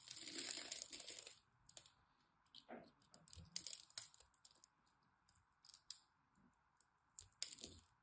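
A blade scrapes small cubes off a solid green bar of soap with a scored grid surface while hands hold the bar. A dense, bright scraping rasp fills the first second or so, then gives way to scattered, crisp ticks and crumbly clicks as the cubes break free.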